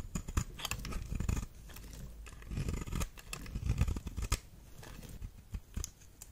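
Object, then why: Solid bar of soap scraped with a knife blade. A knife blade is scraped again and again across the face of a solid red star-shaped soap. Each pass makes a crisp, dry shaving scratch with short bright clicks over a soft low rumble, in uneven bursts that rise and fall.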